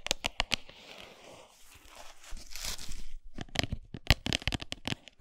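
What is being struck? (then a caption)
Cardboard chocolate bar box. A full, flat Lindt cardboard chocolate box, briefly tilted on its edge, is tapped and scratched with long nails and fingertips. Sharp, dry, bright taps open the clip, then a soft, hissy scratching runs across the cardboard for about two seconds. A second burst of quick, crisp taps follows to the end.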